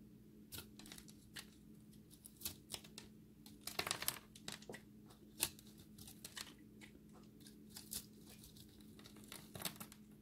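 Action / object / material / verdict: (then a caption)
scrape / pressed soap ball / soap / none. A multicolor ball of pressed dry soap chips, held in the hand, is shaved with a utility blade, revealing a pink core. A quiet, rapid series of sharp, bright scraping and crumbling ticks, some louder than others, plays over a faint steady low hum. Each crunch dies away almost instantly as the dry soap flakes off.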